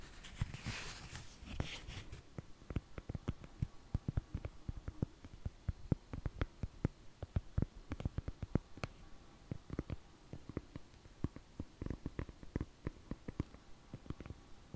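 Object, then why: Foam and fabric shoe insole. Long fingernails scratch and tap a thin, solid foam orthopedic shoe insole with a black fabric/foam top and a blue underside. A brief bright scratching opens the clip, then gives way to a long run of quick, soft, dull taps. The taps are low-heavy and dry, dying away instantly with no ring.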